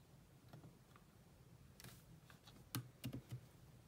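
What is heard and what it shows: Two hands with long nails type on the black plastic chiclet keyboard of a grey laptop. Soft, irregular clicking key taps sit over a low hum, with a few sharper, louder taps near the end.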